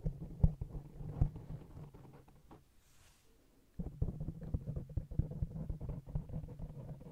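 Long blue acrylic nails scratch and tap a fist-sized black open-cell foam windscreen fitted over a hollow microphone head. The result is dense, muffled, low rumbling scrapes with occasional sharper thumps. The activity fades almost to quiet midway through, then resumes steadily.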